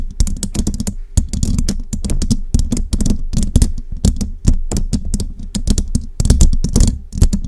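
Long jeweled nails rapidly tap and scratch a hollow metal mesh microphone grille up close, producing a dense, steady stream of crisp clicks with bright tips. Each tap carries a heavy low thump around 170 Hz and dies away almost at once. A faint steady tone sits underneath throughout.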